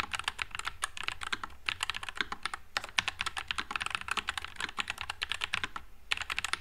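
Two hands type with their fingertips on a white low-profile NuPhy Air96 mechanical keyboard with Wisteria switches and plastic keycaps. It makes a fast, steady stream of crisp, bright clacks that die away almost at once. The typing pauses briefly a few times before picking back up.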